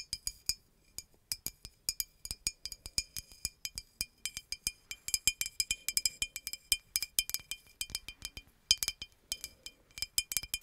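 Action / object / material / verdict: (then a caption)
tap / glass bottle / glass / none. Long acrylic nails tap the body of a hollow green glass bottle with a red cap, tilted near the mic, in a quick, uneven run of about 55 clinks. Each clink is short, bright and high-pitched with a steady ringing tone that dies away almost at once, and there is almost no low end.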